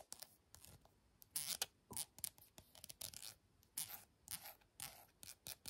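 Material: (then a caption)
Plastic. Long painted fingernails tap and scratch a small, light-green, soft plastic Glow Recipe cosmetic squeeze tube that appears filled with product. The result is a quick, uneven series of dry, bright clicks and scratchy rasps with almost no low end, each dying away at once between short pauses.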